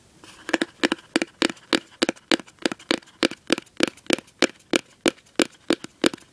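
Fingertips and nails tap and scratch the inside bottom of an open, empty cardboard gift box with a white interior. The result is a steady series of quick, dry papery taps with a crinkly scratching edge, centered around 320 Hz with bright upper texture. There is little low-end and almost no ring after each hit.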